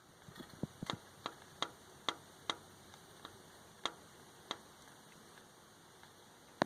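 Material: Steel.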